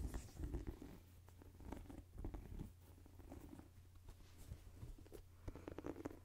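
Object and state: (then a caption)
Rubber sneaker sole. Fingertips and nails tap and scratch the rubber outsole of a white and black Jordan sneaker held sole-up beside the microphone. The sound is a soft, low patter of dull taps and scratchy rubs over a steady low hum, coming in bursts with brief quieter pauses.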